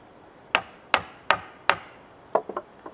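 A wooden mallet drives a chisel into a solid cedar log, giving four sharp, evenly spaced knocks with a bright, woody crack and almost no ring. A quicker run of softer, lighter taps follows.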